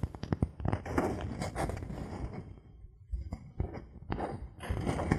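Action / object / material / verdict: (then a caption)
tap / thin bamboo board / bamboo / none. A thin, solid bamboo board held in the hand is tapped with a knuckle and scratched with fingernails. Quick, dull, woody knocks with very short decay mix with rough scratching. Activity dips briefly near the middle before busier tapping resumes.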